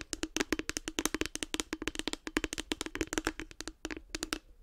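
Long nails tap rapidly on the top and front of a light blue, hollow, hard plastic case with a cartoon face. About 35 quick, dry clicks come with bright, high edges and a short hollow tone near 310 Hz. Each tap dies away almost at once, in an uneven, fast rhythm.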